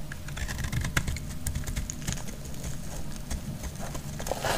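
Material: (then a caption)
Soap. A metal utility blade cuts into a solid, dry, pale yellow bar of soap, producing crackly shavings. Dense, dry crackling and small sharp clicks ride over a low, steady rumble, with a brighter, grittier crunch swelling at the end.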